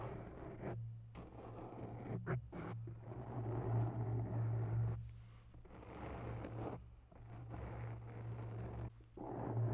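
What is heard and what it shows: Long bare nails slowly scratch the sides of a grey microphone windscreen made of soft, porous foam. This makes a muffled, close scratching rustle over a steady low hum around 125 Hz. The scratching stops briefly several times before starting again.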